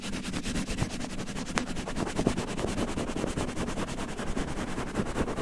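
Fingertips scratch and pinch-rub a red cotton terry towel draped over a microphone, producing a dense, rapid, steady scratchy rustle. The sound is muffled and low-heavy, with soft repeated scraping strokes and little bright content.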